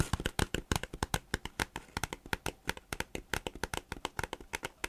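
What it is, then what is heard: Plastic folder (crinkled). A thin, glossy green plastic folder or notebook cover is held upright in both hands, flexed and rubbed with the fingers. It makes a rapid, steady series of sharp, dry crinkles and shuffling snaps. Each crackle is short and bright with a low thump beneath it, and they run close together throughout.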